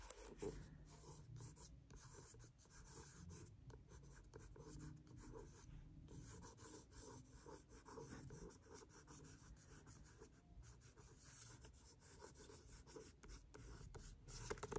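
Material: Paper.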